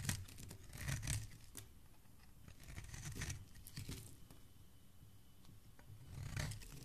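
A metal blade shaves thick curls from the edge of a solid blue oval bar of soap held in a hand with dark-painted nails. Each pass makes a soft, crinkly scraping burst with a dull low body and bright, crackling flecks. The strokes come in several swells separated by quieter, faint scratching.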